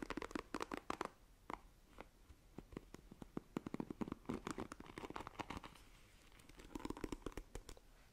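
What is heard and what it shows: Long nails scratch across the bristles of a black plastic paddle hairbrush. It makes quick runs of dry, crisp ticks and rasps, with a brief quieter lull before a final flurry. The overall level is soft and close.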